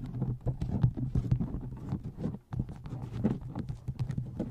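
Fingertips and long nails tap the side edges of a paperback book and its cover near the spine. They make a quick, dense run of soft, dull taps that are heavy in the low end over a steady low hum, with a brief pause near the middle.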